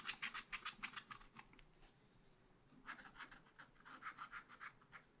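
A wooden stylus scratches fine lines into the deer figure on a thin, black-coated scratch-art card in a spiral pad. Quick, bright, rasping strokes come in two bursts separated by a short quiet pause, each stroke short and dry. The whole clip is soft and close.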